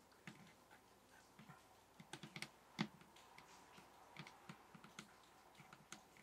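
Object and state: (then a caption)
Table top tapped with fingers. A table top is tapped with the fingers in an irregular, quick series of soft, bassy taps, each dying away almost at once. One tap near the middle lands noticeably louder than the rest.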